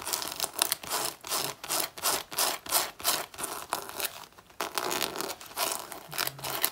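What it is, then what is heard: Faux leather jacket scratched with nails. Long natural nails scratch and claw at the front of a black faux leather jacket that has a damaged patch. The synthetic leather gives off a quick run of bright, dry rasping strokes, briefly pausing midway before the scratching resumes.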